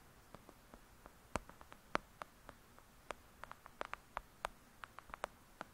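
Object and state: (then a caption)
Paperback book tapped. Long acrylic nail tips tap rapidly on the cover of a thick, solid "Lady Midnight" paperback book lying flat. About 22 quiet, sharp clicks come in an uneven rhythm, each dying away almost instantly, with a mid-pitched papery tone around 1.3 kHz over a faint hiss.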